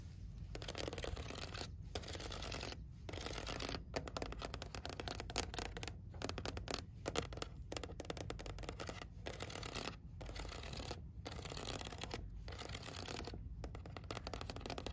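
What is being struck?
Ridged plastic tray.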